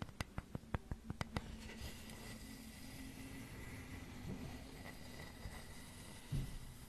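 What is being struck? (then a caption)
Flat wooden flower cutout. A flat, solid wooden flower cutout is held in both hands in front of a microphone while long nails tap and scratch its carved grooves. Nine quick, sharp taps come in the first second and a half, followed by a soft, steady scratching hiss over a low hum, with one louder scrape near the end.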